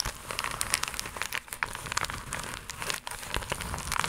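Long acrylic nails scratch and tap a flat, iridescent, croc-embossed holographic plastic mailer pouch. A dense stream of bright, crisp crinkles and quick clicking taps runs continuously, with sharp high crackle and little low end.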